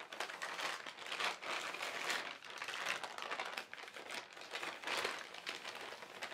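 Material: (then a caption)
Plastic. A large, thin white plastic carrier bag with black printed lettering, lying on a fabric surface, is crinkled and rubbed by fingertips. The result is steady, bright crinkling and crackling with gentle swells in loudness and almost no low end.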